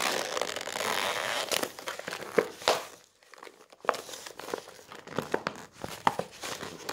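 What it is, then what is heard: Glossy paper brochure. Fingers with rings press, rub and crinkle the shiny folded pages of a glossy coated-paper brochure lying on a wooden table. A steady, bright rustling gives way to sharp crisp crackles, then a brief near-silent pause before more scattered crinkling snaps with very short decay.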